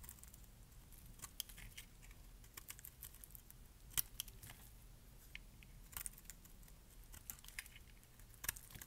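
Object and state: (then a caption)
Dry bar of soap being scraped. A metal blade scrapes thick flakes off the surface of a solid, dark purple bar of dry soap. The result is a quiet run of crisp, bright scratches and sharp clicks that die away instantly, over a low, steady rumble.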